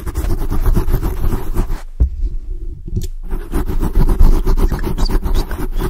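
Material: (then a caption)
Foam. Long blue acrylic nails on both hands aggressively scratch a black foam microphone windscreen. Dense, deep, muffled scraping and rubbing rumbles almost entirely in the low end, with a rapid rough texture. A brief quieter dip around the middle comes before the scratching resumes.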